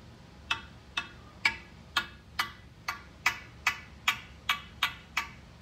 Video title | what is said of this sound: PECHAUER ROGUE!!! FINALLY! | tap a ball with the Ignite you can kind of hear how it sounds Hollow